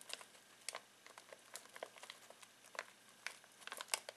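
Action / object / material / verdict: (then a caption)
scrape / foil-plastic snack bag of pistachios / foil plastic / none. Fingertips scratch and crinkle a full foil-plastic snack bag of pistachios. The result is a quiet run of sharp, dry crackles and rustles, mostly high and bright, each dying away almost at once.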